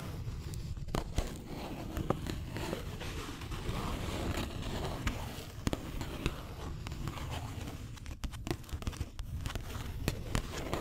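A small printed square cardboard gift box, hollow and possibly empty, is held close to a microphone while long green acrylic nails tap and scratch its face. A steady, low-heavy scratching rustle runs throughout, punctuated by sharp, dry clicks from the nail taps.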